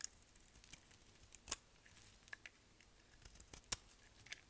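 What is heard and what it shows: A solid black bar of dry soap, held in the hand, is shaved with a utility knife blade. Quiet, bright, crisp scraping clicks come at an irregular pace, some sharper than others, with little low-end body and almost no ring after each cut.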